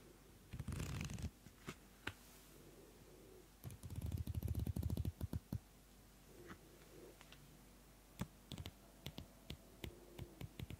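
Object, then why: Small paper notebook. The pages of a small pink Pantone paper notebook are flipped and fanned quickly with fingertips and nails. Two bursts of rapid, dry papery fluttering are heard, a short one early and a longer dense run in the middle, followed by scattered sharp, bright ticks and flicks of single pages. Quiet pauses fall between them.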